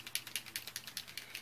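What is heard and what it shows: A plastic glitter brush pen is shaken steadily after its barrel is twisted so the glitter can enter. Quick, bright clicks rattle inside in a regular rhythm, each one sharp and short with almost no low end. The clicking shows the contents are loose and being mixed.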